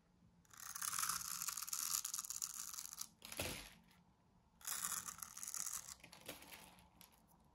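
A thin metal needle or pin, held in one hand, scores a grid into the surface of a pink rectangular bar of dry solid soap held in the other. It makes long, bright, hissy scratching strokes, with a short sharp scrape between them and fainter scratches at the end. There is almost no low end.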